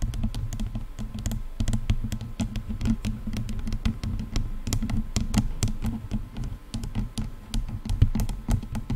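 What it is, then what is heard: Plastic headphone headband. The padded leatherette-over-plastic headband of a pair of over-ear headphones is tapped and knocked with long nails and the fingertips of both hands. The result is a steady, rapid patter of short, dry clicks that stop almost instantly, over a constant low hum.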